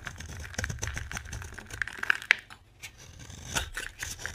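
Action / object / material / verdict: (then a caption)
scrape / bar of soap carved with a knife / soap / none. A utility knife scrapes and carves crumbly shavings from a solid, dry oval bar of orange soap held in the hand. It makes a run of dry, gritty scraping and crackling strokes with a bright, papery texture and a few sharp clicks in the middle. There is a brief quieter pause before the scraping picks up again.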